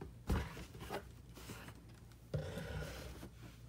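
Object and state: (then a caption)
Cardboard box being scratched. Fingertips and short nails scratch and rub the flat side of a large, hollow, brown corrugated cardboard box. Dull, low thumps open two rubbing strokes, followed by a soft, papery scraping texture with a faint bright hiss. The hollow box gives the contacts a short, boomy body that fades quickly.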